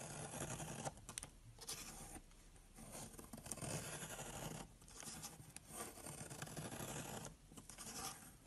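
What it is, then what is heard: Soap bar being scraped. A box-cutter blade makes repeated shallow cuts along a long solid brown soap bar, scraping off flakes. The result is a continuous dry, broadband scratching and shaving sound with bright high-frequency hiss. It swells and dips between bursts of carving.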